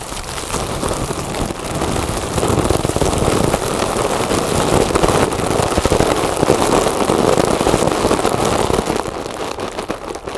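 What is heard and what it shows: A large, inflated, hollow mylar foil balloon is scratched and tapped with long nails and fingertips across its surface and edge. The result is a dense, steady crinkling and scratching with fast, irregular tapping, strongest in the low midrange around 450 Hz, easing off slightly near the end.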